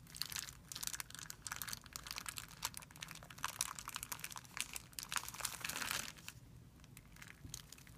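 Fingertips rub and scratch a thin, clear plastic film bag spread flat on a white surface. This makes a dense, bright crinkling with rapid crackles, strongest in the high range with little low end. The crinkling stays busy for about six seconds, then thins to softer, sparser scratching.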